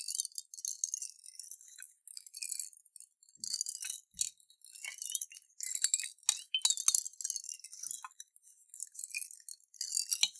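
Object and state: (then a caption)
Glass jar of water and beads being shaken. A clear glass jar with a metal lid, partly filled with water and beads, is tipped and shaken in both hands. Bursts of bright, high clinking and rattling come in uneven waves as the beads knock against the glass. Each burst dies away quickly, with almost no low end.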